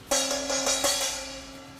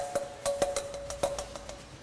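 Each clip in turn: First: undamped metal plate, rings freely. Second: damped metal plate, sounds dead.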